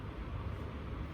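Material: Nothing is struck.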